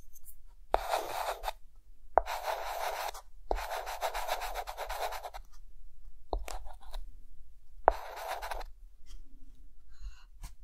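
A hand draws an octopus with a white chalk stick on a dark green chalkboard. Several scratchy, rubbing strokes follow one another, each starting with a sharp tap of the chalk. They give a dry, grainy rasp centered in the midrange with a hiss reaching high, separated by short quiet pauses.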